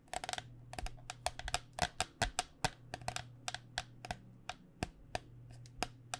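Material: Plastic.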